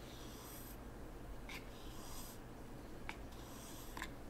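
A hand drags a small wooden T-shaped rake across a flat, empty layer of fine white sand in a small wooden zen garden tray, smoothing and scraping the surface. Quiet, bright, hissing scrapes come in soft strokes over a steady low hum, with a few short, crisp grainy ticks toward the end.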